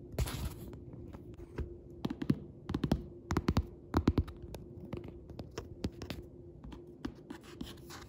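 Fingertips tap and scratch the printed paper-covered board cover of a solid hardcover Tabasco cookbook lying flat. Soft, dull, low thuds come in an irregular stream, mixed with light scratching, and each tap dies away almost at once. A faint steady hum runs underneath.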